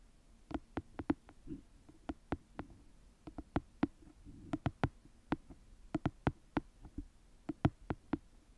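A small paperback book is held flat while long nails tap and scratch the page edges and the cover close to the mic. About 25 short, dry taps come in uneven bursts with little ring. Softer scratching rustles fill the gaps between them.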